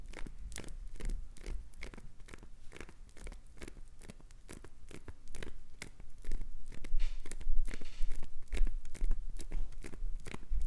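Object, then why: Glycerin soap bar scraped by fingernails. Long pointed acrylic nails repeatedly scratch and scrape flakes off a solid green glycerin soap bar held in the hand. The result is a rapid, uneven string of short, dry, crunchy scraping and tearing bursts with bright edges. The scraping grows louder and denser in the second half.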